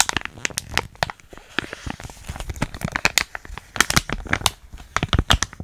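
A small, flat, sealed plastic foil hair mask sachet with a Biotin label, still filled, is squeezed, crinkled and scratched with long nails close to the microphone. Dense runs of sharp, bright crinkles and crackling clicks come in quick bursts, each dying away almost instantly, with a soft rustle between them.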